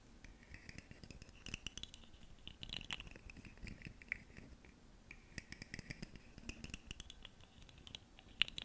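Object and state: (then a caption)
Plastic segmented fidget slug toy. A ribbed, segmented purple fidget slug toy, about hand length with hollow plastic segments, is held up near the microphone and scratched and tapped along its ridges with long nails. Quiet, bright, dry scratching rasps in bursts, dotted with sharp little clicks and taps that die away instantly.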